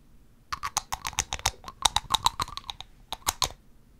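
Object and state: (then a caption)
Amber glass dropper bottle, nail tapping. Long acrylic nails tap on the cap and top of a small amber glass dropper bottle with a cap, held in the other hand. Nineteen quick, dry, bright clicks come in irregular stop-and-go bursts, with pauses near 1.6 s and 3 s. Each tap has a ringing tone near 900 Hz and dies away almost instantly.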